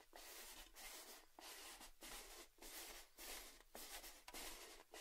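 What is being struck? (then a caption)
Metal tin canister with lid. A red cylindrical metal Baileys tin with its metal lid on is held upright while fingertips and nails tap and rub around the lid rim. About eight bright, scratchy rubbing strokes follow one another, separated by brief quiet gaps, with a faint metallic tone underneath.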